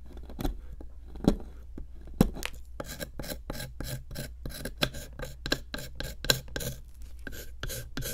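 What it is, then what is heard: Plaster block being scraped. A small metal chisel tip digs and scrapes into a solid pink plaster block sitting in a plastic tray. Short, dry, gritty rasping strokes repeat at a quick, steady pace, with a bright, crumbly edge and a few sharper scratches. A constant low hum runs underneath.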